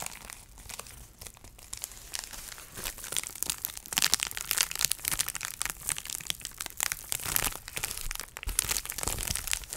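A rectangular sheet of clear plastic bubble wrap, about hand-to-forearm size, thin and flexible, is held up and crinkled and pressed by fingertips with long dark painted nails. Dense, bright crinkling and crackling with many short, sharp snaps runs steadily for nearly ten seconds at a quiet level, with little low end.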